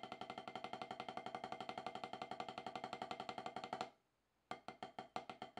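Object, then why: Rubber practice pad struck with wooden drumsticks. Two wooden drumsticks tap rapid, even strokes on a solid, octagonal HQ snare practice pad with a dark rubber playing surface, resting on the lap. Each stroke is a short, dry, woody tick centred around 750 Hz with little low end and almost no ring. The steady roll runs for nearly four seconds, stops briefly into silence, then picks back up.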